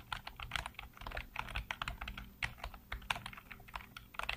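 Fingertips type rapidly on a black plastic backlit computer keyboard, producing a quick, steady stream of short, dry key clicks with bright, crisp tops. Each click dies away almost instantly, over a faint low hum.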